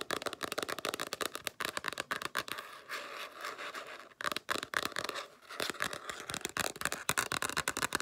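Long nails tap rapidly on the flat, stiff cardboard cover of a black spiral-bound hardcover sketchbook, with stretches of scratching across the cover in between. The sharp, dry clicks are crisp and bright, with almost no low end and no ring after each tap.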